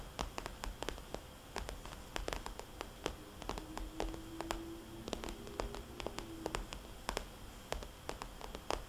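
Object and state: Vinyl cosmetics bag.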